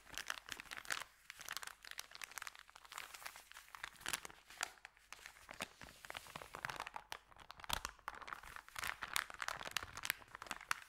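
Fingertips press and rub an empty, flat white Subway paper sandwich bag of thin paper lying on dark carpet, crinkling it. Dense, irregular bursts of crisp crackling come through bright and sharp, with almost no low end. Each snap cuts off almost instantly throughout the clip.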